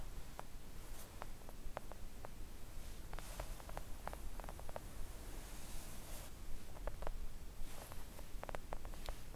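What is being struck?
Silicone nail art mat tapped with press-on nails.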